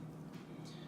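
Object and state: Nothing is struck.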